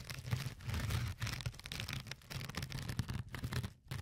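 A fingertip with a short nail scratches and pokes the glittery, fine-textured surface of a flat, yellow, porous foam sponge. The result is close, continuous crackly, rustling scratches over a soft low thumping, in uneven bursts with brief quiet gaps.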